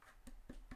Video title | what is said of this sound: Maker's Muse 3D Printing News WAS LIVE 2/3/18 | It's a little bit flexible. Sounds like cardboard.